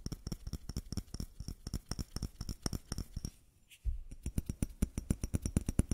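A small white bottle is tapped quickly and steadily with no talking, about thirty short dull taps, each with a low thump and a faint bright click. The tapping pauses briefly near the middle, then resumes at the same quick pace.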